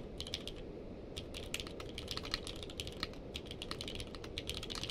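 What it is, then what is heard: Mechanical keyboard with plastic keycaps. Fingertips of both hands type continuously on a navy/purple-case mechanical keyboard with plastic keycaps. The result is a rapid, uneven stream of short, sharp, bright clacks that die away almost instantly, over a steady low background rumble.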